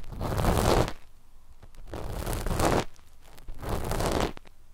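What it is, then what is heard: Knit fabric scratched with cotton swabs. Cotton swab tips, one held in each hand, scratch a flat sheet of dark black knit fabric stretched over microphones. Three broad bursts of rough, rustling scratching are heard, each lasting about a second, with a low, muffled body and a bright, hissy top. Quieter gaps between them carry faint ticks.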